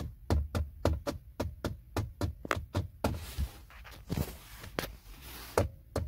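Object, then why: Plastic center console trim panel. Fingertips and short nails tap a flat, hollow, textured silver plastic trim panel on a car's center console beside the gear selector. A quick, uneven run of dull, low knocks dies away almost instantly, then gives way to a scratchier stretch of brushing and lighter taps with a bright edge before a few more knocks.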